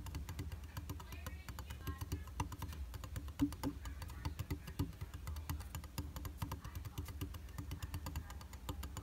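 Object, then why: Glass vanity mirror in a plastic frame. Fingertips and nails tap quickly across a dry, solid round glass vanity mirror in a white plastic frame. The result is a steady stream of short, dry clicks and taps that die away almost instantly, over a soft, low-heavy background.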